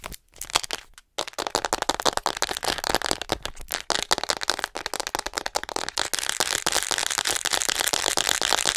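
Long nails on both hands tap and scratch quickly across the back and shoulders of a white, hollow plastic acupuncture model doll held close to the mic. After a couple of brief pauses at the start, the sound becomes a dense, bright stream of sharp clicks and crackly scratches with almost no low end. It grows busier and more continuous toward the end.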